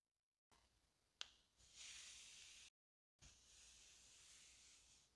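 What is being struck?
Inflated latex rubber balloon.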